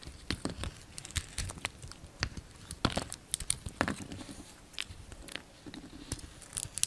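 A solid pink soap bar with a dark red painted shell, held in the palm, is shaved and carved with the blade of a yellow utility knife. A quick, irregular series of short, crisp cutting and flaking crunches sounds, with bright scraping detail over a soft low rustle.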